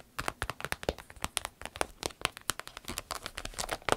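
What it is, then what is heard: Vinyl zip pouch. Long nails scratch a small striped vinyl zip pouch held up close and squeeze it so it crinkles. A rapid, uneven stream of sharp, dry crackles and ticks follows, bright and crisp with little low end. Each click stops almost instantly.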